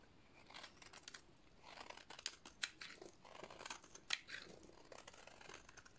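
A metal utility-knife blade shaves a solid, hand-sized white bar of dry soap into powdery flakes. Quiet, dry, bright scraping and crunching strokes come at an irregular pace, with a few sharper crisp clicks standing out. There is very little low end and almost no ring after each cut.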